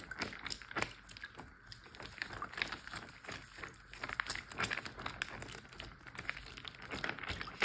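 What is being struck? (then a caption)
Plastic zip bag filled with water. A large clear plastic Ziploc bag full of water is pinched, crinkled and tapped with fingers and nails. Dense, bright crinkling is broken by many sharp, short clicks and taps at a soft, steady level, with little low end and almost no ring after each tap.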